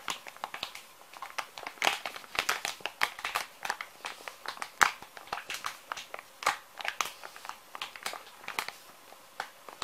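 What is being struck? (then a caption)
Soft plastic-film wet wipes pouch. Fingers squeeze and crinkle a small, full, soft plastic-film pouch of kids' wet wipes. The result is a dense run of quick, dry crackles and crinkles, bright and thin with almost no low end. Each snap dies away almost instantly between the louder bursts.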